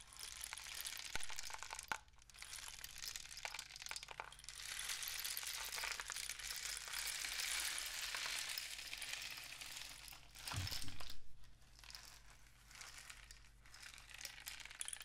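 A long, hollow, painted cardboard rain stick with mesh-wrapped ends and loose grains inside is held diagonally and tilted, with fingertips resting on its surface. The grains trickle down in a continuous bright, hissing patter that swells and fades as the tube is tipped, with a fuller rush near the end. A faint steady low hum sits underneath throughout.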